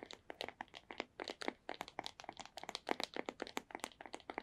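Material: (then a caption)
Cardboard. Long nails tap rapidly across the faces of a small, hollow white cardboard earbuds box, producing around 29 quick, dry clicks with a hollow, papery knock. Each tap is crisp with a bright edge and dies away almost instantly, with very little low end.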